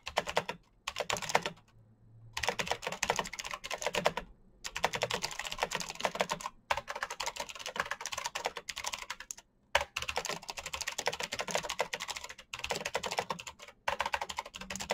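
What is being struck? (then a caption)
Plastic mechanical keyboard. Fingertips type rapidly on a black plastic mechanical keyboard with clicky switches, producing dense bursts of sharp, bright clicks and clacks. Short pauses between the bursts leave near silence before the typing resumes.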